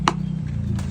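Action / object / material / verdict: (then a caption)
tap / pressed areca palm leaf sheath plate / areca leaf / hard. Right after hot pressing, the bottom of a freshly made areca palm leaf sheath plate is tapped to check it, giving two short, dry taps with very little ring over a steady low hum. The plate is completely hard and its round shape has fully set.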